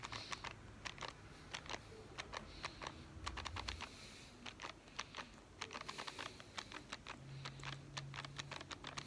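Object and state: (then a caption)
Cardboard film box. A small, hollow, printed cardboard Instax film box is held in one hand and tapped rapidly with the fingertips and nails of the other hand. The result is a fast, uneven run of short, dry, bright clicks with almost no ring, over a faint low hum.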